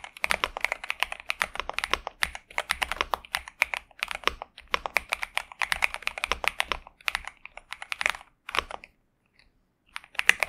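A pink and purple 65% Xinmeng M71 mechanical keyboard with TTC Superman switches and plastic keycaps, resting on a desk mat, is typed on continuously with the fingertips of both hands. It makes a rapid stream of short, crisp, bright clacks with almost no low end, then pauses briefly near the end before a few final keystrokes.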